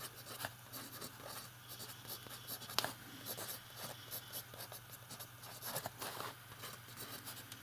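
A metal fountain pen writes on the page of an open lined paper notebook, its nib scratching across the paper. Quiet, bright, dry scratching strokes run continuously, with a sharper tick near the middle, over a faint steady low hum.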